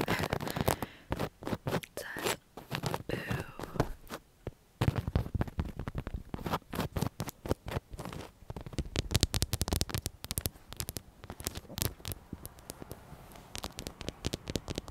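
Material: Fabric.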